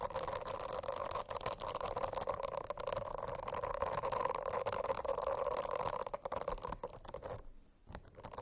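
Long acrylic nails tap and scratch across the dense small bristles of a rainbow-striped silicone notebook cover. Quick, irregular clicks and soft bristly scratches run over a steady low hum near 500 Hz and 1 kHz. The sound drops noticeably quieter for a moment near the end before the scratching picks up again.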